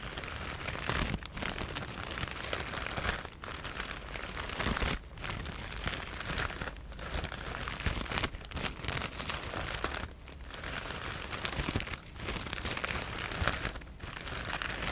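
A clear plastic E-PACK bag full of white foam cushioning pieces is held in both hands and scratched and crinkled with long nails. Dense, bright crinkling and scratchy rustling runs almost continuously, broken by short quiet pauses every couple of seconds.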